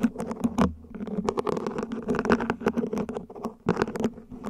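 A small, hollow, mint-green ribbed plant pot, probably plastic, sits upside down while long nails tap its sides and top. The result is a quick run of light, dry, hollow taps and patters with a low-mid body and brief bright clicks, each dying away almost instantly.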